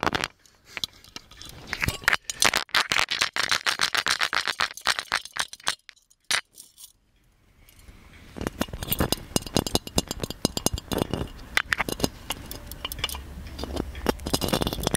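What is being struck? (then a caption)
Ornate metal genie lamp. Fingernails tap and scratch over the surface of an ornate, hollow gold metal genie lamp held in both hands, making rapid, bright clicking and scraping sounds. The taps are dense with almost no ring, and a short quiet pause comes about six to eight seconds in. After the pause the tapping returns with a fuller, lower body beneath the bright clicks.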